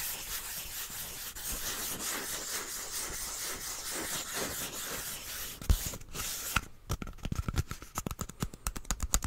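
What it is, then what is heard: Cardboard tube. Fingertips rub and scratch the side of a small, hollow brown cardboard tube with a white end cap, held close in front of the microphone. A steady, dry, bright rubbing hiss with a soft low rumble fills the first six seconds. It then breaks into a rapid series of short, crisp scratches and taps.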